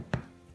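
A homemade bread loaf, turned over, is tapped once on its bottom, giving a single short, low, hollow thud that dies away almost at once. The hollow sound shows the loaf is baked through and done.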